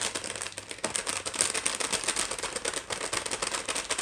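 A small, full, sealed plastic package of La Moderna dry pasta shells lies flat on a wooden tray while long nails tap on the bag. The tapping is fast and continuous, with bright, crinkly plastic clicks and the shells rattling inside. It is mostly high-pitched, with almost no low end.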